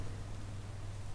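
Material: Nothing is struck.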